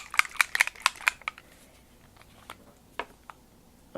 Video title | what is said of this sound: Ep. 990 WRMK It Factor Paper Collection | you shake it up you can hear the ball bearing in it to make sure it's shook